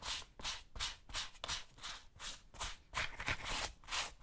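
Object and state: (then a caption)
Suede boot being brushed. A bristle brush held in the hand scrubs and rubs the suede upper of a tan suede or nubuck tactical boot worn on the left foot. Twelve quick, bright, hissy brush strokes sweep back and forth at a steady rhythm, each one dry and scratchy with no ring after it.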